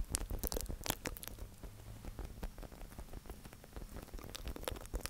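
A hand-sized, hollow white plastic Prime sports drink bottle with black lettering is held in both hands and tapped and scratched with fingertips and nails close to the recorder. Rapid, dry taps and scratchy rustling come through as dense, short clicks over a soft low thump, with bright snaps standing out in the first second and near the end.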